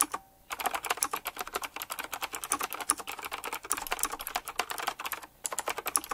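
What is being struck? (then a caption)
Mechanical keyboard with round plastic keycaps and metal rims. Fingertips type fast on a full-size black retro typewriter-style mechanical keyboard with round, chrome-rimmed plastic keycaps on a glossy base. A dense stream of sharp, bright clacks and taps is heard with very short decay and almost no low end. The stream breaks briefly near the start and again past five seconds.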